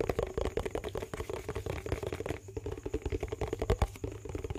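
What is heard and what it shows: Fingernails tap and scratch a medium-size yellow plastic dishwash-paste tub with a lid. The result is a quick, continuous patter of soft, hollow clicks mixed with scratchy scraping. Each tap dies away almost at once, and the sound sits mostly in the low range.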